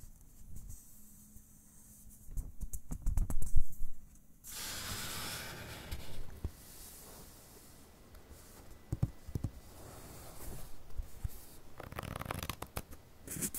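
Fingertips rub, tap and scratch the surface of an open paperback book's uncoated paper pages, producing soft, dry, close-up scratching and papery clicks. Around the middle, a page turns with a brief, bright, airy swish, followed by more scattered light scratches and rubs.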